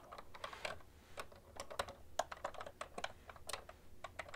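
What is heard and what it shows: Fingertips and long nails type on a full-size beige plastic ergonomic keyboard with hollow-housed keys, both hands on the keys. About 22 quick, dry keystrokes sound in an uneven rhythm, each a short hollow clack with a bright clicky edge and no ring.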